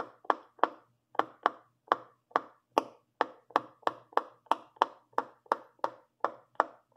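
A purple long nail presses into the hollow bubbles of a large rainbow silicone pop-it fidget toy, popping them one after another. There are 19 short, dry pops at a steady pace, each a quick tap-like click centered around 1 kHz with a brief bright edge. Each pop dies away almost instantly, leaving near-silence between them.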